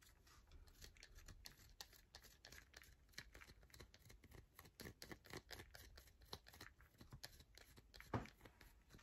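A solid yellow bar of soap held in the palm is scratched with long nails across its face. Quiet, rapid, dry scratches and tap-like clicks run close together, with bright broadband streaks over a soft low rumble. One louder stroke stands out near the end.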